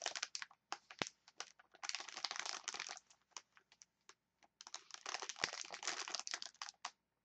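A clear plastic package of wooden chopsticks is squeezed and scratched with long nails, making bright, dry crinkling and scratching. Short sharp ticks alternate with denser stretches of rustling, with a few brief pauses between bursts.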